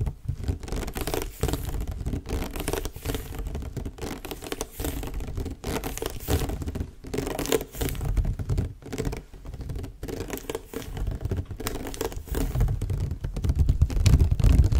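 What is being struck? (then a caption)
Thin plastic water bottle, partly filled. Long nails tap and scratch the thin, crinkly sides of a small clear plastic water bottle with a green label and white cap, partly full of water and held in one hand near the mic. The result is a fast, uneven patter of short, dull, bass-heavy taps mixed with soft crinkling and scraping, each tap dying away almost instantly.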